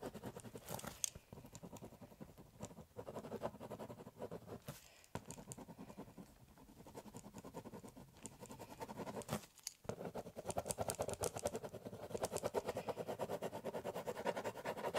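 A ballpoint pen scratches and shades across the surface of a large, empty, hollow corrugated cardboard box. The result is a steady, uneven run of quick, dry scratching strokes with brief pauses and bright edges, getting denser and louder toward the end.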